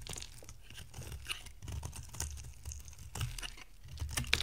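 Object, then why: Bar of soap. An oval, solid orange bar of dry soap is carved with a box-cutter blade, and flakes break off. Quiet, dry scraping and crunchy crackles repeat in short bursts with a low rumble underneath and brief bright edges.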